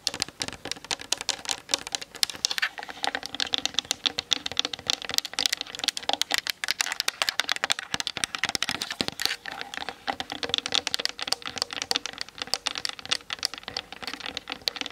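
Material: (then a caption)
Plastic. Long nails tap rapidly on the hollow plastic body and lens of a Canon DSLR mounted on a tripod. The result is a steady stream of dry, bright, clicky taps with almost no low end and no ring, similar to fast typing.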